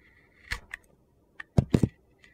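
A metal utility knife blade carves thin strips from a handheld rectangular bar of solid white soap flecked with yellow and orange glitter. Seven short, dry scraping cuts are heard, the middle cluster heavier with a low, crunchy body. A faint, brief one closes the clip.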